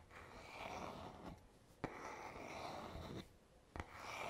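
Fingertips slowly rub the smooth, solid wooden back of a paddle hairbrush held in the hand, making soft, breathy friction strokes with a bright hiss. Quieter pauses separate the strokes, and two sharp clicks mark the start of the second and third strokes.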